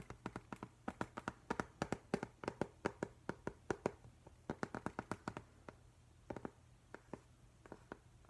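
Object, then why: Glass-fronted picture frame. Fingertips and nails tap and lightly scratch across the flat glass front of a framed octopus print. About 39 short, dry taps land in quick uneven bursts, each a sharp click with a mid-range glassy tone that dies away almost at once. A faint steady low hum runs underneath throughout.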